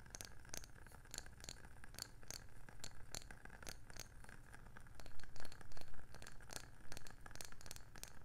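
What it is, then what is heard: Wooden candle lid. A round, palm-sized, hollow wooden candle jar lid with a printed label on top is tapped and scratched with long painted nails. Quick, uneven clicky taps mix with dry scratching over a low, steady hum, with a few louder taps near the middle and end.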